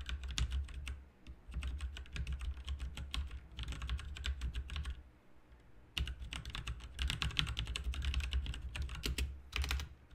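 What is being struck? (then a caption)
Plastic mechanical computer keyboard. Both hands' fingertips type continuously on a full-size backlit RGB mechanical computer keyboard with plastic keycaps on a hollow plastic/metal case. The result is rapid, sharp clicky taps with bright, short-lived clacks, running over a steady low hum. The typing pauses briefly around the one-second mark and again just before the six-second mark.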